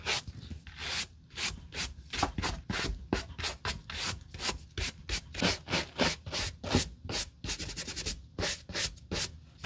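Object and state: Work boot being brushed clean.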